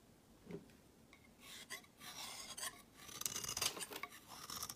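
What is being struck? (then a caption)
Bar of soap. A hand-sized, solid rectangular green soap bar is held in one hand while a utility knife blade shaves and scrapes curls off its edge. Quiet, bright, raspy scraping strokes start faintly, then grow denser and louder toward the end, with a high hiss and almost no low end.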